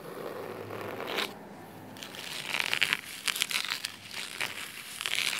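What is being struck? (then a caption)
Cloth-bound hardcover book. Clawed nails scratch the navy fabric cover of a thick cloth-bound hardcover book resting on a wooden table, then move to its spine. The sound is a dry, crisp, bright scratching and crinkling rasp with quick bursts, a quieter pause around the middle, and almost no low end.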